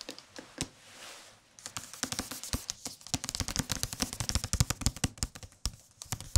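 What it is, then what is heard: Hardcover book with paper dust jacket. A thick hardcover book with a thin paper dust jacket is tapped rapidly with the fingertips, giving many short, dry taps with a low thump and a crisp papery top. The tapping starts sparse and quiet, then builds into a dense, uneven run of light hits with almost no ring.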